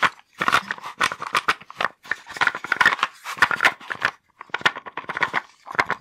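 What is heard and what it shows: A small wooden box with wooden blocks inside is held in the hands and shaken. The blocks rattle in quick, dense bursts of sharp, bright clicks and knocks with brief pauses between them. Each click dies away almost at once, with no low end.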